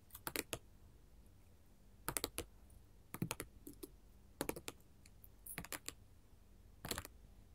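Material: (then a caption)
Glass. Long gold metal filigree finger claws tap and rub a solid sheet of small colored glass mosaic tiles resting on a table. Quick, bright, dry clicks come in short clustered bursts separated by quiet pauses. Each click stops almost instantly with no ringing.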